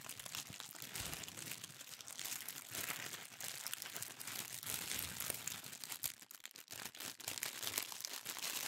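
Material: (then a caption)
Paper. A thin sheet of pink tissue paper is rolled and squeezed in both hands, giving a steady, dense crinkling. The crackle is bright and high with almost no low end, easing briefly about six seconds in before picking back up.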